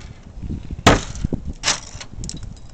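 Ice coating a gate is knocked and broken off, giving two sharp, bright cracking bursts with a splintering, glass-like shatter. Faint low rumble and smaller ticks sit between and after the breaks.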